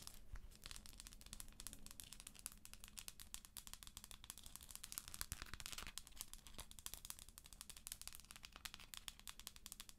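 Long acrylic nails scratch the textured top of a hollow plastic galaxy moon lamp, then tap it while it is held. It makes a dense, bright, crinkly scraping with many quick, dry clicks, over a faint low hum.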